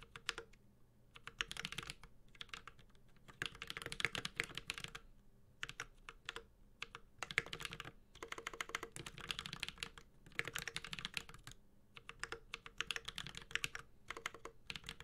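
Fingertips of both hands type continuously on a Space65 Cybervoyager 65% mechanical keyboard with an aluminum case, ABS keycaps and Holy Panda switches. Bursts of rapid, sharp, bright keystrokes come and go with short pauses between runs, each stroke dying away almost instantly. A faint, steady low hum sits underneath.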